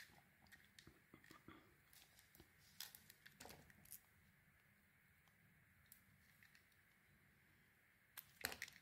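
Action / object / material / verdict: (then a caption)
scrape / bar of soap / soap / none. A small, round, solid bar of soap with an orange coating is held in the hand and scraped and shaved with a metal utility blade, exposing the white soap beneath. Short, dry, bright scraping and crackling cuts come in scattered bursts over a quiet background. A louder cluster of cuts arrives near the end.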